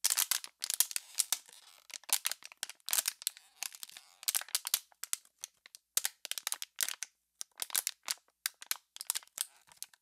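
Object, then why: Thin plastic water bottle. An empty, clear plastic water bottle, already crumpled and hollow, is crushed and crinkled in both hands. Dense bursts of sharp, bright crackles and pops follow one another in quick clusters with brief quiet gaps. The sound is thin and high, with almost no low end and no ring after each crackle.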